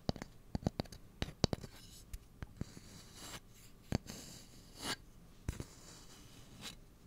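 Fingernails tap and scratch along the bowl and handle of a long, light, solid wooden cooking spoon. A quick run of sharp, dry clicks comes first, then soft, breathy scrapes swell in brief bright bursts between sparser taps. Each tap dies away instantly with no ring.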